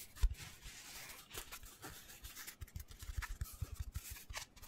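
Fingertips rub and scratch the porous surface of a hand-sized black foam cylinder, giving quiet, dull low thumps under soft, airy scratching hiss. The sound starts with one sharper tap, then settles into steady rubbing that turns into a quicker run of light taps and scrapes toward the end.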